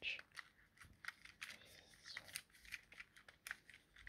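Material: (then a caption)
Plastic. A thumb presses and clicks the buttons of a small, hollow, yellow plastic Nintendo Joy-Con controller held in the hand. It produces a quick, irregular series of sharp, bright plastic clicks that are thin in the low end and die away almost instantly, with a faint rustle between presses.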